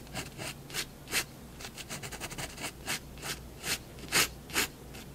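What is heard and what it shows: A fineliner pen tip rubs and scratches long contour strokes along a drawn cat's body on white drawing paper resting on a wooden desk. Short, bright, scratchy strokes come in an irregular series, some quick and clustered, over a faint steady low hum.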